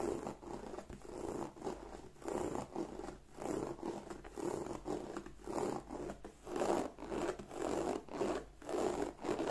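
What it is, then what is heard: Croc-embossed leather bag. Long nails scratch back and forth across the textured front of a black croc-embossed leather bag. They make a steady series of soft, raspy strokes that swell and fade with short pauses between them. The scraping is quiet and dry, centered in the low mids with a faint hiss above.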